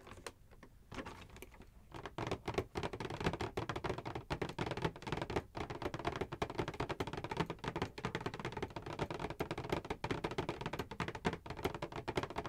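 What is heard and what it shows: Long acrylic nails tap quickly on the back of a Schick Hydro Silk gift set box, a flat printed cardboard panel on a hollow box with contents inside. After a quiet first second, a dense, fast run of short, dry, hollow clicks continues steadily to the end, with the energy weighted toward the low and mid range.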